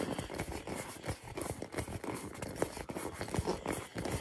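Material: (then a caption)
Rubber. A hand-sized hollow purple rubber or plastic ball, held in both hands, is tapped quickly with fingertips and nails. It gives a steady run of soft, hollow knocking sounds with a low-mid tone around 440 Hz and very short decay.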